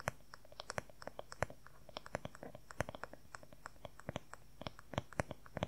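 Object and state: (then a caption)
Wooden paddle hair brush. Fingernails rapidly tap and scratch on the smooth back of a long-handled wooden paddle hair brush. Dozens of quick, dry, bright clicks come in irregular bursts over a quiet, faint background, each one cutting off almost instantly.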